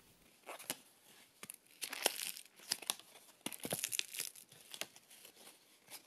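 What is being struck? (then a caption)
Paste-stiffened cotton fabric. A thin, flat, arc-shaped white piece of cotton fabric stiffened with wallpaper paste, a hat brim test piece, is held in both hands and flexed and crinkled by fingertips with medium-long nails. It gives off dry, bright crackling and crumpling bursts in irregular clusters, with almost no low end and quiet gaps between them.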